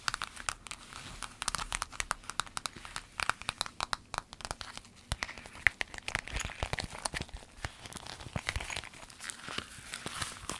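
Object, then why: Clear vinyl zip bag. An empty, flexible, long clear vinyl zip pencil bag printed with lemons is scratched with long nails, then rolled and squeezed in the hands. It gives a steady stream of sharp, bright crinkles and crackles with short, rapid ticks and almost no low end.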